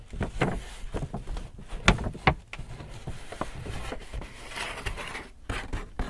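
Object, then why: Paper shopping bag. Fingertips tap, rub and crinkle the front of a large, hollow, apparently empty white paper Hudson's Bay shopping bag with handles. Soft papery taps with a low, hollow thump mix with rustling and scratchy rubbing, and two sharper, brighter taps stand out near the middle. Each tap dies away almost at once.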